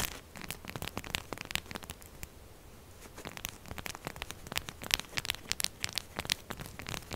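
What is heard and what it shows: Long purple glitter nails fast-scratch and tap the textured surface of a solid, palm-sized rectangular pink soap bar standing upright on a dark table, with soap shavings around it. The result is a dense run of bright, dry crackling scratches and sharp clicky taps centered around 2.9 kHz. A brief quieter stretch near the two-to-three-second mark breaks up the scratching before it picks back up.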